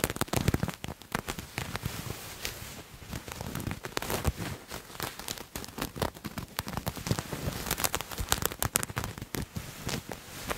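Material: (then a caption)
Fabric. Fingernails scratch a purple paisley fabric garment held in one hand, producing a dense run of quick, dry crackling scrapes. The texture is rough and broadband with a soft low thump under the strokes, and it stays busy and uneven for the whole clip.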